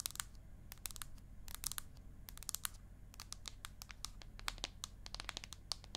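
Long acrylic nails tap quickly on the aluminium back of an iPad mini. Rapid, irregular runs of sharp, bright clicks die away almost instantly over a faint, steady low hum.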